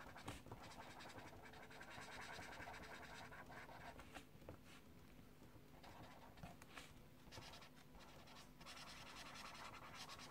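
An orange colored pencil is scratched and rubbed across a paper page of a small paperback mandala coloring book lying on a desk, while the fingertips of the other hand hold the page down. The result is a steady, quiet, dry scratching and rustling texture, broken up by brief, brighter strokes that come at an uneven pace over about ten seconds.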